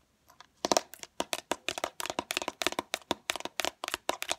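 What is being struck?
Small plastic bottle with liquid.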